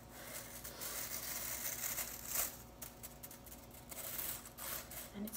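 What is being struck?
Plastic broom bristles.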